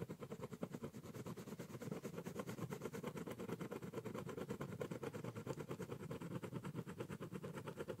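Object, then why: Corrugated cardboard box scratched with a ballpoint pen. A ballpoint pen draws small, rapid repeated strokes near the top edge of a large, hollow brown corrugated cardboard box. Each stroke gives a short dry scratch over a hollow, boxy low resonance, in a fast, steady scribbling rhythm that continues throughout.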